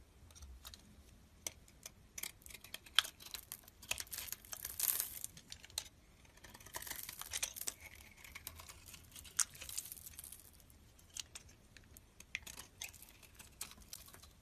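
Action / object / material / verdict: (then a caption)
scrape / bar of soap / soap / none. A solid orange soap bar with a knobbed massage top is held in the hand while a black-handled blade shaves its surface into flakes. Quiet, bright, crisp scraping and crinkly crackles are broken by dozens of sharp little clicks, with denser rasping bursts along the way. There is almost no low end.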